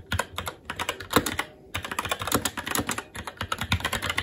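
Fast, continuous typing with the fingertips of both hands on a SteelSeries Apex 7 TKL mechanical keyboard, which has plastic keycaps on a metal top plate and Red linear switches. Quick, bright plastic clacks with short, dull low thumps blur into a dense patter. The typing breaks briefly at about 1.5 seconds, then carries on at the same pace.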